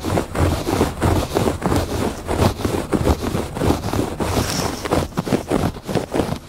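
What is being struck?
Woven textile rug.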